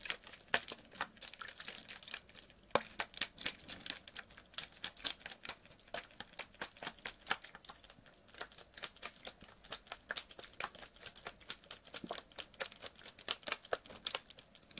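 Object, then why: Plastic water bottle partly filled with water. A clear PET water bottle, partly filled with water, is squeezed and crinkled by hand. Dense, bright plastic crackles and snaps fire rapidly over the whole clip, with a soft slosh of water underneath and almost no low end.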